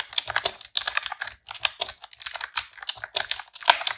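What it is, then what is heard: Plastic keyboard typing. Long press-on nails and fingertips type rapidly on a pink retro-style plastic computer keyboard with round keycaps. The result is a fast, uneven run of short, bright, dry clicks and clacks with brief pauses between bursts.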